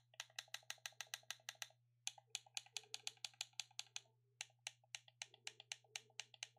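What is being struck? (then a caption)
Plastic game controller buttons. A hand-sized black plastic gamepad with a hollow shell is held in both hands while thumbs click its face buttons and sticks, giving about 34 sharp, bright clicks in quick runs separated by two brief pauses. Each click is dry and stops almost instantly, over a steady low hum.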